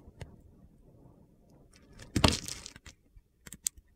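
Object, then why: Bar of soap cut with a metal blade. A metal utility-knife blade shaves and carves pieces from the edge of a solid pale blue bar of soap held in the hand. Against a faint low rumble, a small tick is followed by a louder, crunchy scraping burst around the middle. A few short, sharp clicks come near the end.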